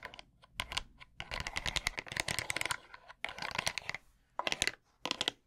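Tiny plastic hands scratch and tap across the rounded wooden pins and solid curved back of a wooden bamboo massage brush. Quick bursts of dry, bright clicks and rattling scratches come in clusters with short quiet gaps. Each tap stops almost instantly, with no ring.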